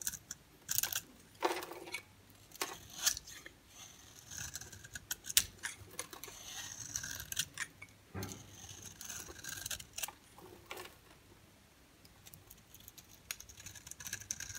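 A metal utility-knife blade shaves the surface of a solid oval dry bar soap, yellow inside with a black rim, held in the hand, producing curls and powder. The clip is a run of crisp, bright, dry scraping strokes with short rasping bursts and quick ticks, irregular in timing and with almost no ring or low end.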